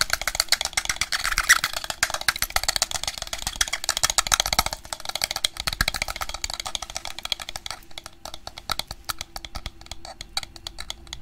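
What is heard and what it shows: Fingertips tap and handle grey plastic over-ear headphones with a hollow headband and padded ear cups, held up in front. Quick, dry plastic clicks and taps come in dense, bright bursts with a faint hollow rattle, busiest in the first half and then thinning into sparser, scattered taps.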